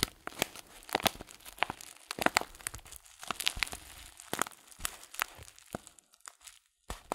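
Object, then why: Filled paper tea packet. Fingertips squeeze and crinkle a folded-top paper tea bag filled with loose-leaf tea. The result is a run of sharp, dry crackles and crisp tearing-like crinkles, bright with almost no low end and no ring. Short quiet gaps fall between bursts, with a near-silent pause just before the final crinkles.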